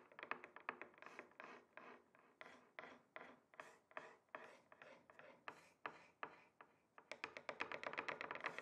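Two wooden sticks tap and rub across the surface of a flat, solid rectangular wooden chopping board. The result is a quick, uneven run of dry, short wooden clicks and scrapes, with a denser flurry of rapid taps near the end. An echo effect trails each sound.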